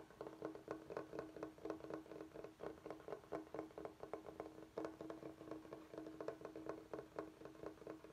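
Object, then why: Bamboo cutting board. Fingertips of both hands tap and scratch the face of a large, flat, solid bamboo cutting board held upright. The result is a quiet, steady stream of quick, dry wooden taps, about four per second, each with a short woody resonance near 300 Hz, mixed with a faint scratching rustle.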